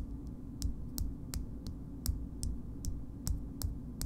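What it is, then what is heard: Frosted glass cosmetic jar tapped with nails. Long nail tips tap the base of a small pink frosted glass cream jar held bottom-up, producing a slow, uneven series of short, bright clicks. A steady low hum runs underneath.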